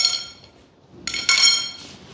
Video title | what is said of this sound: Arrows - F-15 Eagle - Twin 64mm - Unbox, Build, Radio Setup, & Maiden Flights | Definitely sturdy, definitely carbon fiber, because it sounds like metal. If it was plastic, it would sound like donk.